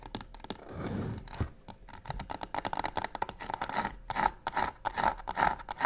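Long nails scratch and tap quickly on the sides of a hollow box covered in black embossed crocodile-texture faux leather. Rough, rasping scrapes give way to a fast, uneven run of sharp taps with a hollow ring near 870 Hz and bright, dry edges that die away almost at once.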